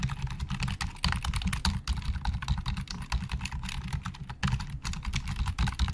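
Fingertips of both hands type fast on the hollow plastic keys of a black plastic Logitech full-size keyboard resting on a desk. A dense, steady stream of quick clacks is heard, each with a low, hollow thud and a bright tick, dying away almost instantly.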